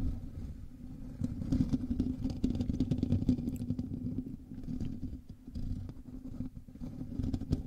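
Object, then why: Metal mesh microphone grille. Both hands scratch the top of a black USB microphone's hollow metal mesh grille with their nails. The result is a dense, continuous low scratching rumble with a steady hum-like tone around 250 Hz, swelling and dipping in loudness with the strokes.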